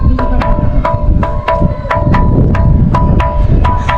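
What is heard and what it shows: A resonant musical rock, the Gobustan gaval stone, is struck repeatedly in a steady rhythm. The strikes give sharp, wood-block-like percussive clicks with a clear ringing tone near 600 Hz and 1 kHz, over a heavy low rumble. The stone works, producing its musical tone as intended.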